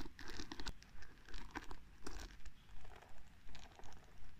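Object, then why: Wooden paddle hairbrush with wooden pins. Fingertips and long nails brush and flick over the wooden pins of a small wooden paddle hairbrush. The result is a quiet, steady, rhythmic patter of soft crinkly scratches, each brief and quickly fading, with a low rumble beneath and bright brushing texture on top.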